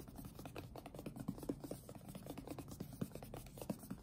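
Fingertips tap and rub the top face of a closed, printed cardboard retail box for an Apeach keyboard, hollow with the product inside. Soft, rapid, dull taps mix with a dry scratching rub, with quiet low thumps that die away almost at once.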